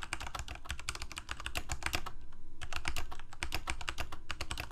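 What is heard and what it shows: Fingertips of both hands type continuously on a full-size black plastic Corsair K68 gaming keyboard with backlit keycaps, Cherry MX Red switches and a hollow plastic case. Fast, irregular clacky keystrokes with a bright attack and a low, hollow thump from the case run throughout, with a brief lull in the middle.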